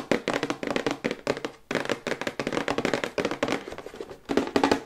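Long white acrylic nails tap rapidly on the back side of a glossy printed cardboard toothbrush box held upright in both hands. The quick bursts of hollow, papery clicks have a mid-pitched boxy resonance and almost no low end. Each tap dies away at once, with brief pauses between the flurries.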